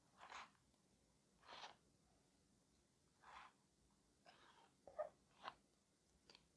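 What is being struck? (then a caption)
Corrugated cardboard box. A medium corrugated cardboard shipping box, closed and taped shut, hollow with contents inside, is handled and tapped with fingertips, then lifted and turned in the hands. Soft, dull scuffing taps and brushing rustles come in separate short bursts over quiet background noise, each dying away quickly.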